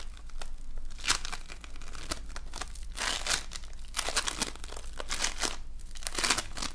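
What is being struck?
Foam bead slime.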